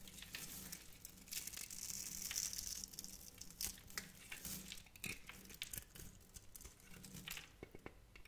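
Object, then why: Glycerin soap bar and metal knife. A metal knife scrapes and carves small cubes off the end of a hand-held, hand-sized, solid translucent orange glycerin soap bar with glitter flecks. The sound is a dense run of bright, crisp crackling and crinkly scraping, with sharper snaps as pieces break away over a faint low hum.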